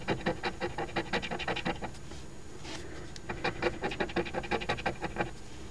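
The silver latex coating is scraped off the number spots of an Ontario Lottery OLG instant scratch ticket #2429 ($5 5X Money Multiplier), a flat, thin cardboard ticket held down on a white table, using the edge of a metal coin. Quick, rhythmic, raspy strokes come in two runs with a short quiet pause between them. Each stroke is a brief, dry scratch with little ring.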